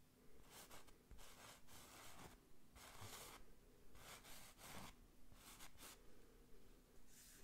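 Fingertips trace along the printed letters and Eiffel Tower of an IKEA Paris printed canvas wall picture, a textured print on a rigid frame, scratching lightly. Soft, bright scratching strokes come in uneven bursts over a faint, steady low hum. The overall sound is quiet and close.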